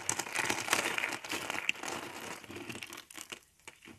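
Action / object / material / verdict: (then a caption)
scrape / thin rolled soap curls / soap / none. Hollow rolled spirals of thin, dry multicolor soap are crushed with fingers into flakes. The result is a dense, crisp crinkling and crackling with quick, bright snaps and little low end. It is busiest in the first half and thins into sparser crackles as it fades toward the end.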